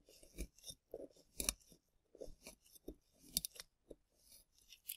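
A hand-sized, rectangular solid plaster (gypsum) block with a relief triceratops, held in green-gloved hands, is scraped with a small plastic chisel tool. Quiet, irregular gritty scrapes and crunchy strokes come in short bursts with bright, hissy texture and a soft low thump under some strokes. Each stroke stops dry with no ring.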